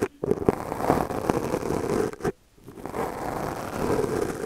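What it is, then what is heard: Foam microphone windscreen being brushed. A small purple plastic brush, held in the fingers, brushes and scratches its bristles across a black foam windscreen on a microphone held in the other hand. The result is a close, dense, scratchy rustling centered in the low-mids, broken by a few brief sharper strokes. There is a short near-silent pause midway before the brushing resumes steadily.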